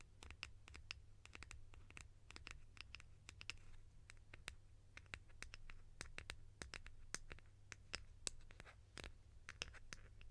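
Long nails scratch and tap a white, hollow, egg-shaped plastic lid held in both hands. The result is a steady stream of quick, bright clicks and soft scratching over a low, constant hum, all at a quiet level.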